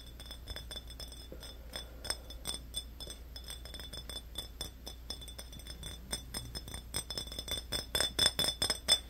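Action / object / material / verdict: tap / small glass drink bottle / glass / none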